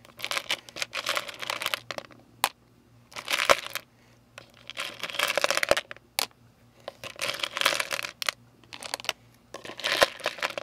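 A hand wearing rings digs into and stirs small hard-shelled jelly beans and sugar-coated candies in a clear plastic tub, making them clatter against each other and the plastic. Bursts of dense, bright rattling come in waves, separated by short quiet pauses and a few sharp single clicks.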